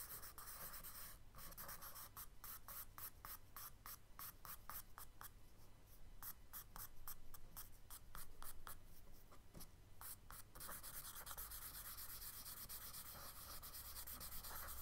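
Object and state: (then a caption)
Kraft paper sketchbook page. A charcoal stick held in the fingertips is rubbed and scratched across a tan kraft paper sketchbook page in dense hatching strokes. Quick, dry, scratchy strokes come at roughly four per second in an uneven rhythm, then after about ten seconds they blend into a steadier, continuous rubbing hiss. A low, constant hum sits underneath throughout.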